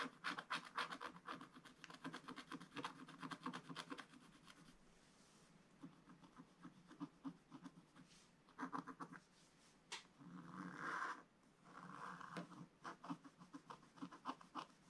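A wooden stylus scratches the lower part of the picture on a thin coated scratch-art paper page. Quick, dry, rasping strokes come in fast bursts of about four per second, with a softer stretch in the middle and a few longer, smoother rubbing sweeps near the end. The sound is quiet and bright-edged, and each stroke cuts off almost at once.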